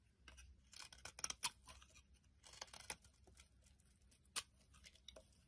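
A metal blade carves and scrapes shavings off a solid pink bar of soap held in the hand. Quiet, crisp, bright scraping and crunchy cutting strokes come in short bursts, with a few sharper clicks standing out.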